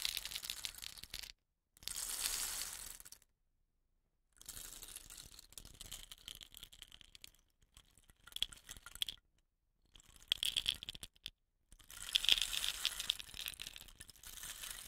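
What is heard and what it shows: A hollow painted bamboo rain stick, held upright by its woven rattan end, is tilted and shaken by fingers so the filling rattles inside. Bright, hissy bursts of dense pattering come in several stretches separated by short silences, with almost no low end and a faint tone around 3.2 kHz. The sound is a dry, fast, crackling rattle that fades quickly after each grain strike.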